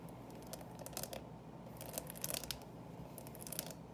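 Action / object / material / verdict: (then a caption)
scrape / clear plastic candy box with candy inside / plastic / none. Long painted nails scratch and tap the closed lid of a small, hollow, clear plastic coffin-shaped box filled with Reese's Pieces and a plastic skeleton. The result is a steady, low-level bed of dry scratching with brief, bright clicking taps scattered throughout.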